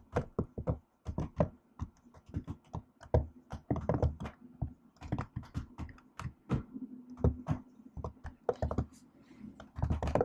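One hand with long acrylic nails types and taps on a silver laptop keyboard with black plastic keys set in an aluminium body. The result is an irregular run of short, separate taps, each a dull low thunk with a bright clicky tick that dies away almost instantly.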